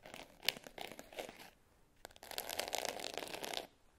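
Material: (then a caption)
Glitter. Long nails scratch and tap the top and edge of a small black glitter-covered hard case with a clasp, closed and lying flat. Bright, gritty scratching comes in short bursts with one sharp tap early on, then after a brief pause a longer, steady run of rasping scratches follows before stopping.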